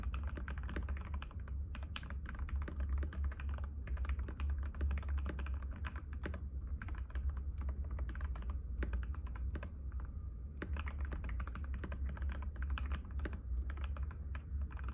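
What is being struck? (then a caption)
Mechanical keyboard with plastic keycaps. A compact cream-white mechanical keyboard with plastic keycaps and a hollow case, resting on a glass table, is typed on continuously with the fingertips of both hands. Rapid, overlapping key clicks and taps keep a steady rhythm over a constant low hum, with only a brief pause near the ten-second mark.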